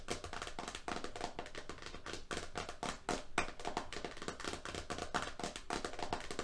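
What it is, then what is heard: Roll of painter's tape. A medium-size roll of green FrogTape painter's masking tape, a solid roll around a hollow core with a printed cardboard-and-plastic label disc over its face, lies flat on a striped surface. It is tapped fast by the fingertips and painted fingernails of both hands on the label face and rim. The result is a quick, uneven stream of short, dry clicks and taps with a faint hollow tone near 700 Hz and very little ring.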